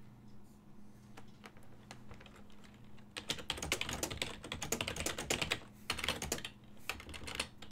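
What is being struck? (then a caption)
Plastic computer keyboard. Fingertips of both hands type on a full-size black and silver plastic desktop keyboard whose keys sit on a hollow body. A few light, scattered key taps open the clip, then about three seconds in the typing turns fast and dense, with sharp, bright plastic clicks that stop almost instantly. A faint steady low hum runs underneath throughout.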